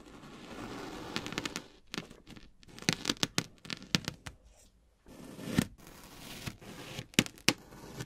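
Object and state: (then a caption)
Kinetic sand disc being cut. A black kitchen knife blade presses straight down into a flat, round, solid disc of green kinetic sand on a white surface, making repeated radial cuts. Each stroke gives a sharp, bright crunch and crackle over a soft grainy hiss as the sand crumbles, with brief quiet gaps between bursts of cutting.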